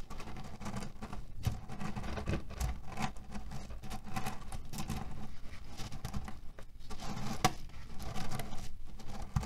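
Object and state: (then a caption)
Cherry pit pillow. Fingers tap, press and rub the surface of a cotton fabric pillow filled with cherry stones. The stones make a steady, dense patter of small clicks and rustles over a deep, muffled low rumble. Each click is short and dry, with very little ring.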